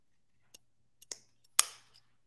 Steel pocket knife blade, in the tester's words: if you flick it but there's like a Zing